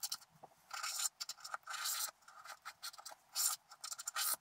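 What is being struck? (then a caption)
Coated scratch art paper card. A wooden stylus and fingertips scratch away the remaining black coating along the edges of a coated scratch art card. Dry, bright scraping comes in short ticks and several longer rasping strokes, with quiet pauses between, all high and thin with no low body.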